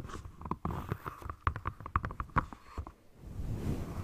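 Long nails tap and scratch the textured surface of a single dark grey Speedo rubber swimming flipper with a hollow foot pocket, held close in front of the mic. A quick run of soft, dull taps, each with a faint hollow ring around 1.1 kHz, is mixed with muffled scratching. The clip ends in a low, rumbling rub.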